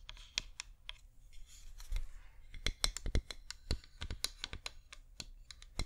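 A cream flameless wax pillar candle with a scalloped rim is held in both hands and tapped with long painted nails. The result is a quick, irregular run of sharp, dry clicks with bright tops and a soft low thud beneath each. Every tap dies away almost at once.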